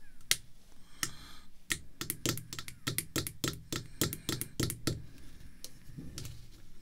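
A small, solid, clear acrylic screw-down card holder with a baseball card inside is tapped by red artificial nail tips, then tilted up by hand. Rapid, irregular, sharp clicking taps come in quick clusters, each short and dry with almost no ring. A low rumble sits underneath throughout.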